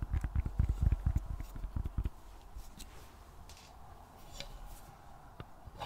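Long nails tap and scratch the silver lid and side of a small round metal tin of thinking putty, with the putty visible inside. About two seconds of rapid, dull, low-pitched taps give way to a quieter, soft scratching with a few faint clicks.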